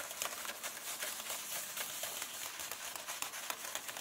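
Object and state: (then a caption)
Paper book pages scratched. Fingertips and long painted nails of both hands rub and scratch across the paper pages of a large open paperback illustrated book lying flat on the same illustrated spread. The result is a quiet, continuous, bright, scratchy rustle with irregular soft ticks and almost no low end.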